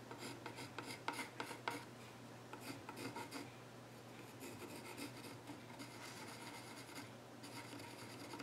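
A pencil tip scratches and sketches across the far edge of the flat top of a solid, reddish-brown, grained wooden child's stool. Dry, raspy strokes come in short sharp bursts at first, then settle into steadier stretches of scratching over a constant low hum.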